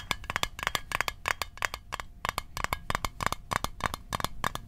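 A small, hollow, closed rectangular metal Altoids Arctic mint tin, held in the hands, is tapped quickly with fingertips and fingernails. The result is a rapid, uneven run of sharp, dry clicks with a bright metallic ping centered near 1.1 kHz. Each tap dies away almost instantly.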